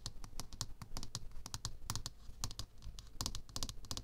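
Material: Aluminium.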